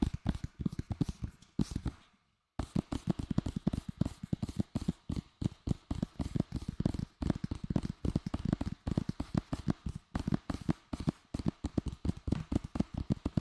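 Fingers tap rapidly and repeatedly on a plastic Lord of the Rings DVD case received as a Christmas gift, making dull, short clicks with a low thump. The tapping runs in quick bursts with a brief pause near the start, each tap dying away almost at once.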